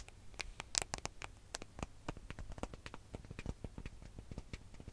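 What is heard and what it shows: Long fingernails tap and scratch rapidly on the gold metallic back of a smartphone held flat. The result is a quiet stream of sharp, dry clicks and scrapes with bright high edges, no ring after each contact, and a faint low hum underneath.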